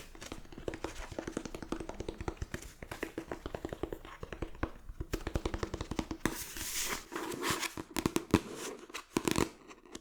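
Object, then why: Book, paper and cardboard cover. A book's paper pages and cover are tapped rapidly with the fingertips, producing a dense run of short, dull, woody taps with a low hollow tone. Around the middle, the tapping briefly gives way to a softer, hissy rustle before the quick finger taps resume.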